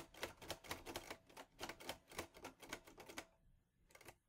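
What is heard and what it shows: Fingertips type on the keys of a teal metal portable Olivetti Lettera 22 typewriter. A quick, uneven run of sharp, bright metallic clacks sounds, each dying away almost at once. After a short pause near the end, a final pair of strikes follows.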